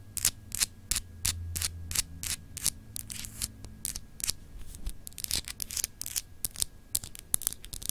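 Long acrylic nails scratch quickly across a small, solid clear glass globe paperweight with frosted, etched continents held in the hands. The result is a rapid, uneven series of short, bright, raspy scrapes with almost no ring, over a faint low hum.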